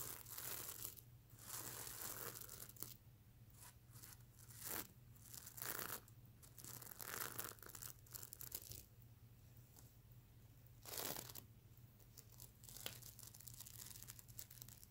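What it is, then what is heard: Sequin pillow scratched. Fingernails scratch the silver and iridescent plastic sequins on a soft stuffed plush pillow. Quiet, bright, crackling rasps arrive in bursts with short pauses, over a faint low hum.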